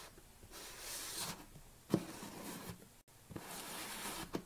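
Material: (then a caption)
Plastic. Fingernails scratch and rub across the top of a black plastic screw lid on a tilted large protein tub. The result is soft, hissy scraping that swells and fades with bright high-end rasp, broken by three sharp clicks of nails catching the plastic.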